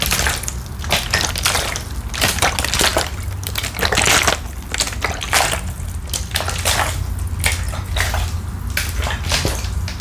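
A medium-size, hollow, clear plastic drinking-water bottle, partly filled with water, is held in one hand close to the microphone and shaken or squeezed. The water sloshes while the thin plastic crinkles in bright, irregular bursts over a steady low rumble. The result is a continuous stream of wet sloshing and crisp crackling throughout.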